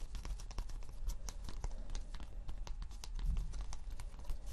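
Fingertips and nails scratch and tap a thin, flat cork board sheet lying on fabric, its solid, granular surface giving off a rapid, uneven stream of dry clicks and scratchy ticks. Each tap is short and bright with almost no ring, over a soft low rumble.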